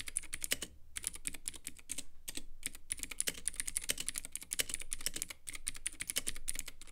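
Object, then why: Plastic mechanical keyboard with acrylic case. A compact Womier K66 mechanical keyboard with Gateron Blue switches, white plastic keycaps and a clear acrylic case is typed on quickly with the fingertips of both hands. A steady run of sharp, bright, clicky keystrokes dies off almost instantly, over a faint low background rumble.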